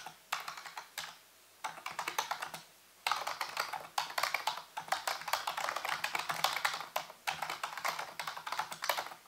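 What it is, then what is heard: Plastic computer keyboard. Fingertips type rapidly on a full-size black plastic computer keyboard with hollow keys, set on a white base. Quick bursts of crisp, bright plastic clicks and clatter are broken by two short pauses early on, then become a steady, dense stream of key taps.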